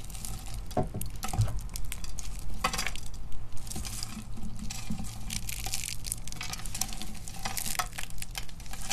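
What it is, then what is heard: Dry, brittle soap flakes being crushed. Fingers with glittery nails pick up thin, brittle purple and black dry soap shavings from a pile and crush them between the fingertips. The result is a steady stream of fine, dry crackling and sharp little crunches with bright, brief snaps over a low background rumble.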